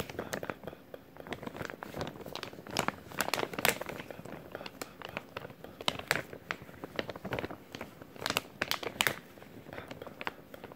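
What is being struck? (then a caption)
Clear plastic zip-lock bag. A clear plastic zip-lock bag, held in both hands, is crinkled and rubbed with the fingertips. The result is a dense run of sharp, bright crackles and rustles with little low end, swelling into louder bursts at a few points.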